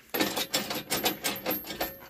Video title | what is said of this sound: Frontier OS23 Sawmill Assembly - Part 2 | it's obviously not right now it's rattling when I shake it